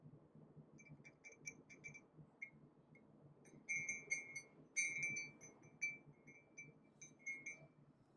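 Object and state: Ceramic coffee mug.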